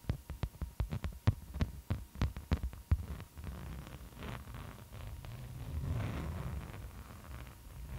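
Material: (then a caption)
Waxed cotton. Long acrylic nails scratch and trace across a floral beeswax-coated cotton fabric food wrap. A quick series of sharp, thuddy taps and scratches fills the first three seconds, then gives way to a steady, low, rustling scrape as the nails drag over the waxy sheet.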